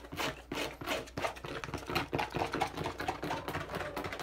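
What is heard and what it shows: Fingertips and nails tap and scratch quickly along the side of a hand-held, hollow, medium-sized teal and dark blue plastic bottle. The result is a fast, irregular flurry of short, hollow plastic clicks and brushing scrapes, with a faint ring around 770 Hz that dies away almost instantly after each hit.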